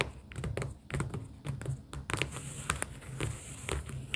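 Long pink acrylic nails tap on stacks of pastel paper sticky-note tabs held in a cardboard booklet. The result is a quick, irregular run of short, dry clicks with a bright papery edge over a steady low hum.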